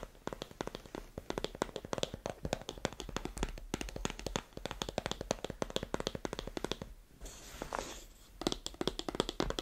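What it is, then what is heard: Cardboard phone box, tapped. Long manicured nails tap and scratch the printed front of a small, white, rigid cardboard iPhone 15 Pro box, held closed in both hands above a grey carpet with the phone apparently inside. Rapid, dry, short clicks and taps fill the clip, broken around the seventh second by a softer, brighter scratching before the tapping resumes.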